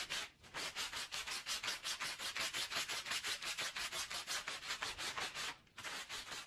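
A green push broom scrubs its bristles back and forth over a small, foamy, wet red-and-blue Persian woven pile rug (wool-type textile) lying on the floor. About 20 quick, fairly regular strokes produce a bright, hissy, wet scrubbing sound, with a brief pause near the end before the scrubbing resumes.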